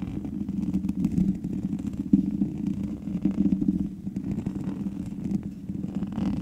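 Long manicured nails of both hands scratch the black metal mesh grille on the hollow head of a large USB condenser microphone. The result is a continuous low, rumbling scratch centered near 200 Hz, with a few louder scrapes standing out along the way.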